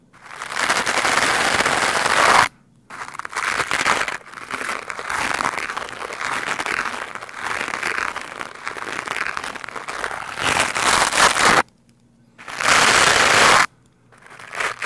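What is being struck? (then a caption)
Foam microphone windscreen brushed with a plastic bristle brush. A hand-held lime-green plastic scrub brush with stiff white bristles is brushed and scratched quickly across a large, soft, porous black foam windscreen on a microphone. This makes dense, crackling, rustling scratches with a bright hiss, centred near 1 kHz. The scratching comes in long bursts, broken by brief silences near 2.5, 12 and 14 seconds.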